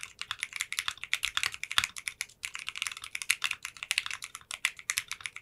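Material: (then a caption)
Polycarbonate. Fingertips with short nails type rapidly on a 60% custom mechanical keyboard with translucent pink polycarbonate keycaps in a clear case. About 37 quick, bright, clicky keystrokes run together in an uneven stream with a brief pause near the middle. Each press is short and crisp, with almost no low end and almost no ring.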